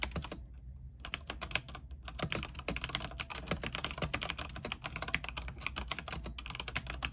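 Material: Plastic.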